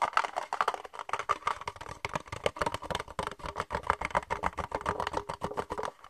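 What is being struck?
Thin plastic cup.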